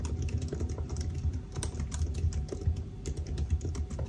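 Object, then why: Laptop keyboard, plastic keys in aluminium body. Fingertips of both hands type continuously on the black plastic keys of a silver aluminium laptop keyboard. Fast, steady, soft clicks with short, dull taps over a deep, low rumble.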